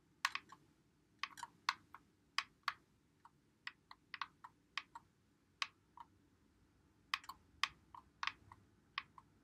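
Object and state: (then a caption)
Plastic game controller, buttons clicked. A white Xbox One controller with a hollow plastic body is held in both hands while playing Call of Duty, as fingertips press and click its buttons and thumbsticks. Short, sharp, bright plastic clicks come in irregular bursts over a faint low hiss, each dying away almost at once.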